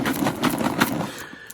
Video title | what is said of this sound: Pokemon Base Set 2-Player Starter Deck Opening - Hunting for the Diglett ERROR Card! | you hear those damage counters moving around